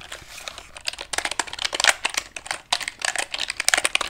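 Fingertips tap repeatedly on the wooden keys and casing of a small handheld calculator with a solid, light wood body, likely bamboo, held up close. The result is a rapid, uneven run of dry, bright clicks much like typing, each dying away almost at once, with no low-end thump.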